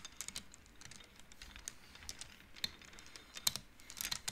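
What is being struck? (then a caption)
Wooden abacus beads on rods. Fingertips push painted wooden beads along the rods of an upright wooden-frame abacus so they knock together. The result is a quiet, irregular run of quick, dry, bright clicks that die away almost instantly, with a few sharper knocks standing out.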